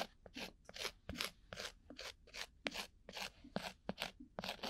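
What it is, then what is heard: Cork coaster being scratched. A thin bamboo ear pick scratches a round, flat, solid cork coaster-sized disc held right at the microphone's ear. About fifteen short, dry, bright scratching strokes come in an uneven rhythm, each fading almost instantly.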